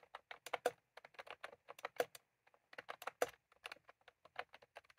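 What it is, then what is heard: Plastic keyboard with round keycaps. Fingertips of both hands type continuously on a full-size plastic computer keyboard with round cream typewriter-style keycaps resting on a desk. About 23 short, crisp plastic clicks come in an irregular, quick rhythm, each with a midrange body near 500 Hz and a bright top that dies away almost instantly.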